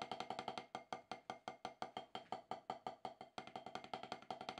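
Two wooden drumsticks tap a solid, octagonal HQ rubber drum practice pad with a dark rubber surface in quick, uneven strokes, some doubled or rolled together. Each tap is a short, dry, wood-block-like knock centred around 750 Hz with a bright click on top, dying away almost at once.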